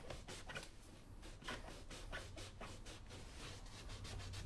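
A yellow cloth held in the fingers rubs back and forth over the toe and vamp of a brown smooth leather moc-toe work boot worn on a foot, while the other hand holds the boot. The result is quiet, rhythmic swishing strokes with a soft, airy brushing texture over a steady low rumble.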